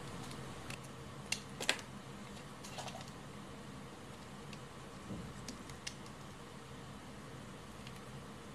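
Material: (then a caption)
Soap. A utility knife blade carves and shaves curls off a hand-sized, cream-colored bar of hard Lux soap held in one hand. Short, bright scraping cuts pop out irregularly over a quiet, steady low hum, with the sharpest cuts near the start.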